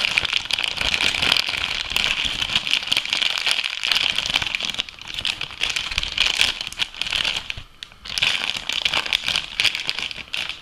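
An empty, flexible, clear thin plastic food bag is squeezed, crumpled and stretched with both hands and fingertips. It makes a dense, continuous bright crinkling and crackling with very little low end. The sound briefly softens around five and eight seconds before picking back up.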